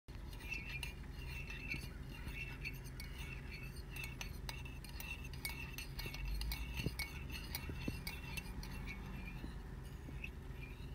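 A metal teaspoon, held in fingertips with long painted nails, is stirred through a white ceramic coffee mug about half full of coffee with milk and clinked against the mug's inner wall. Quick, bright clinks with a steady ring sound repeatedly over a continuous low rumble, with the liquid swishing audibly throughout.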